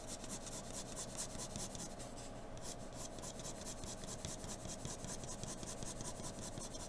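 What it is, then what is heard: Pencil drawing on paper. A wooden graphite pencil held in an extender rubs and scratches steady strokes across a flat sheet of white drawing paper resting on a dark table. The result is a continuous, quiet, dry rasping with rhythmic bright scratchy pulses over a low, soft rumble.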